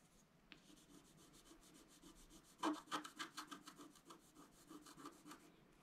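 A wooden stylus scratches the black coating of a flat scratch-art card lying on a table, revealing the color beneath. Quick, dry scratching strokes sound in a steady rhythm, growing into a louder run of crisp scrapes midway before settling back to softer strokes.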